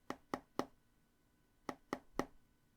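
Six quick taps in two sets of three on the glass screen of a Pixel 9 Pro smartphone, each a short, bright knock that dies away almost at once. The phone sounds less hollow than the Pixel 7 Pro.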